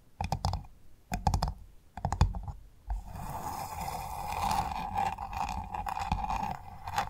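Long fingernails on both hands tap across the hard, ridged brown shell of a large, closed freshwater pearl mussel, making quick clusters of dull clicks. After about three seconds the nails scratch steadily over the ridged surface, producing a continuous rasping scrape with a faint mid-range tone until the end.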